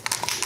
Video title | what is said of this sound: Ramp Test out and painting | sometimes you can hear the ball going sometimes you can't that means there's a lot of solids in the bottom that need to get stirred back up